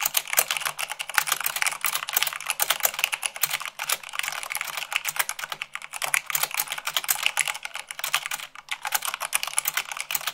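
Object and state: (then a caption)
Plastic mechanical keyboard. Fast typing at about 98 words per minute with fingertips and long nails, one finger bandaged, on a black plastic mechanical keyboard with white plastic keycaps. A dense, steady stream of bright, dry clacks and clicks, each dying out almost instantly, with no pauses in the rapid rhythm.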